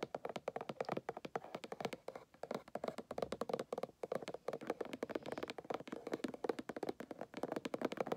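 A small, closed, hollow white cardboard gift box with a paint-splatter print sits on carpet and is tapped quickly with fingernails and fingertips. The result is a steady patter of short, dry, hollow taps centered around the midrange, with almost no ring after each hit.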